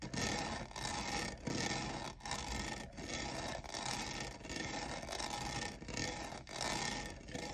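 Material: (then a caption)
Plastic. Fingernails tap and skitter over the sides of a hollow, lavender, diamond-textured plastic cold cup. The result is a dense, raspy, bright clatter that runs almost continuously, swelling and dipping in loose waves a little under a second apart.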